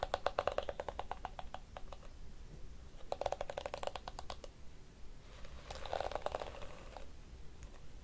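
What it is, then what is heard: Plastic detangling hairbrush. A small blue and pink plastic detangling hairbrush with a hollow shell has its plastic teeth scratched and tapped with long nails. Quick bursts of bright, dry clicks come in three runs, with a softer scraping rustle near the end. Each click dies away almost at once over a low background hum.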